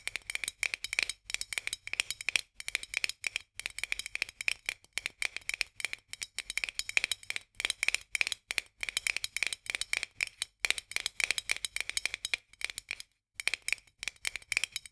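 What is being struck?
Metal screw lid on a glass jar.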